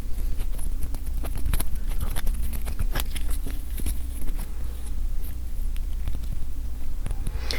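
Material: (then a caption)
Acrylic. Tapping on a mini acrylic standee, a 1/3 inch thick slab of UV-printed acrylic that feels well made, just after it is unwrapped. Quick, short, dull taps sound over a steady low hum; the taps are too dense to count individually, and each dies away almost instantly.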